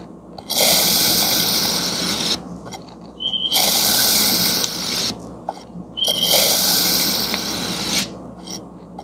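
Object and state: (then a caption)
Kinetic sand block being sliced. A serrated metal knife slices thin layers from a palm-sized solid block of green kinetic sand shaped like a mooncake, resting on a white surface. Three long, bright, grainy scraping strokes, each lasting under two seconds, are separated by brief quieter pauses with faint rustles. The sound is dense and hissy, with little low end.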